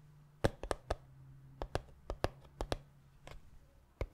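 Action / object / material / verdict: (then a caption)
tap / small cardboard box / cardboard / none. Fingertips tap the sides of a small, hollow black cardboard gift box, making about 13 short, dry knocks in an uneven rhythm with no ring after each one. Under the taps runs a faint, steady low hum.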